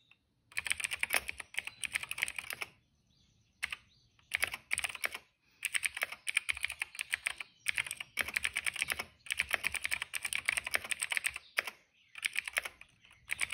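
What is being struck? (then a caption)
Plastic mechanical keyboard. Fingertips of both hands type steadily on a retro-style cream plastic mechanical keyboard with dark and purple plastic keycaps and a hollow case, resting on a rug. Rapid, bright, clicky keystrokes come in dense bursts separated by brief pauses, each tap short and crisp with almost no ring.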